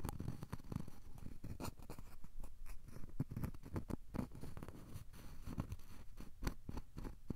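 A thin, solid, square cork coaster is held edge-on between both hands while fingertips rub and scratch along its edge and surface. The result is a quiet, steady run of soft scratching with many short, dry taps, mostly low in tone and with no ringing after each touch.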